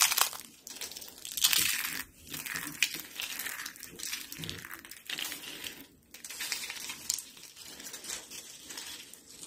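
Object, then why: Soap sheets and flakes. A pile of dry, cream-colored soap flakes and sheets is crushed and crumbled in hands with blue nails. Bright, dry crunching and crinkling comes in irregular bursts of brittle crackle, with almost no low end.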